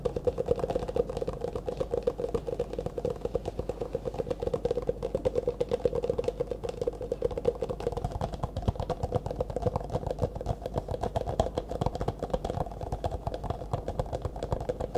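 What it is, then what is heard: Clear plastic cup, tapped and scratched. Fingertips and nails tap and scratch quickly on the walls and rim of an empty, hollow, disposable clear plastic cup held in both hands. The result is a dense, steady stream of rapid, dry clicks and scrapes with a hollow ring around 480 Hz, each one cut off almost instantly.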